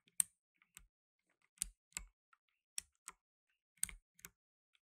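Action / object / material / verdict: tap / plastic mechanical keyboard keys / plastic / none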